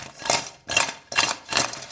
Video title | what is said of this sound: Lahori Masala Chicken Fry Recipe By RecipeTrier - کرسپی فرائیڈ چکن | You can hear the crisp sound as well.